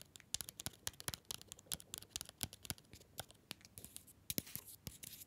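A small, solid, orange paper-wrapped Green & Black's mini chocolate bar is held upright close to the mic and tapped and scratched with fingernails. The result is a quick run of dry, crisp clicks and papery scratches, bright in the highs with very little ring.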